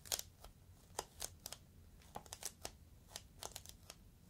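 Fingertips squeeze and scratch the top edge of a clear, hollow, inflated plastic air-column packaging bag. About 15 short, bright, crinkly scratches and squeaks come at an irregular pace, each dying away almost at once over a low, quiet background.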